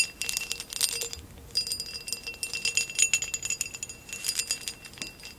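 Long acrylic nails rapidly tap and scratch the woven relief pattern of a tall, hollow, empty amber glass vase standing upright. The result is a dense stream of crisp, bright clicks and scraping rasps, with faint high glassy ringing tones that fade almost instantly, and almost no low end.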